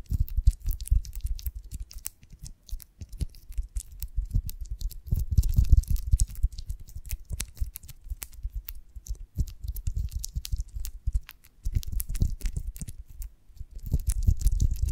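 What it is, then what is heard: Beeswax honeycomb tapped and scratched with nails. A beeswax honeycomb on a branch, cupped in both hands, is tapped and scratched rapidly with long nails on its dry, waxy comb. The result is a dense stream of short, dry clicks and scratches over soft low thumps, with busier bursts and brief quieter stretches.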